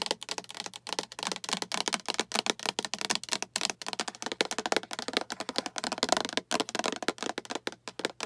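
Long acrylic nails rapidly tap a hollow, empty-looking translucent green plastic storage container with a diamond pattern and clip lid, held in both hands. The result is a fast, steady stream of dry, bright plastic clicks that stop almost instantly, with hardly any low end.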